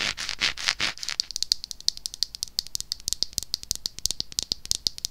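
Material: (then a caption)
Plastic. A small pink plastic cleansing-balm jar with a white lid, held in the hand, is scratched and then tapped with long acrylic nails. About a second of hissy, brushing scratches gives way to a rapid, uneven series of sharp, bright clicks with almost no ring, concentrated high.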